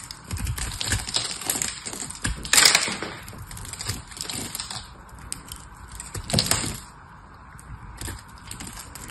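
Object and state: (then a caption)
Dry soap bar. A metal knife carves a dry, hand-held solid blue soap bar with a white and foil layer, sending blue chips falling. The carving makes a steady run of bright, crisp scraping and crackling with short, dry cuts. The loudest cracks come around 2.6 and 6.4 seconds.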